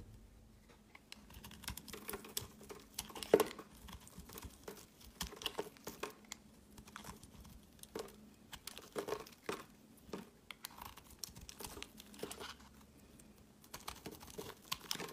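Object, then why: Soap bar. A solid oval white soap bar with a ribbed edge and an embossed logo is shaved with a utility knife blade. Quiet, dry scraping and cutting strokes crackle through the clip in quick, uneven bursts with bright crisp edges. A faint steady low hum runs underneath.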